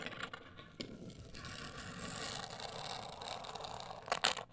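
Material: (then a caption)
Cardboard. A black printed rigid cardboard cosmetic box, medium-sized and hollow, is scratched and tapped with long acrylic nails. Soft, bright scraping fills most of the clip, rising in the middle, before a few sharper taps near the end.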